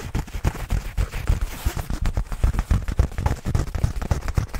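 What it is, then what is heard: Nylon fabric bag being scratched. Fingertips scratch and rub across a black nylon fabric bag held beside the microphone. The result is a rapid, irregular string of short, deep, muffled crackling thumps, heavy in the low end, with a faint scratchy texture on top.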